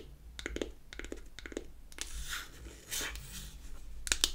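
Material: Wood.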